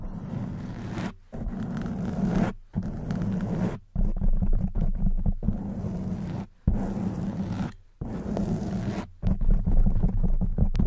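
Long white nails scratch the soft black foam windscreen on a silver condenser microphone, producing a dense, low, rumbling scrape. It comes in bursts separated by brief silent gaps, with most of the energy in the low end and little high content.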